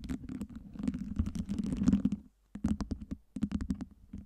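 Long nails rapidly tap and scratch a tower of clear acrylic fake ice cubes lit by LEDs. The result is a dense patter of short plastic clicks and scrapes over a low hollow thud, with no ring after each hit. The sound pauses briefly just past the midpoint, then resumes in sharper, more spaced taps.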